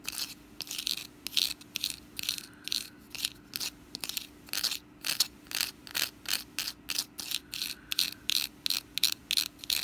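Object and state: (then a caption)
Woven wicker basket scratched with nails. Long nails scratch the woven strands and base inside a small, open, orange woven wicker pumpkin basket that is hollow and empty. The scratching comes as a steady run of short, dry, bright rasping bursts with quick gaps between them, over a faint, constant low hum.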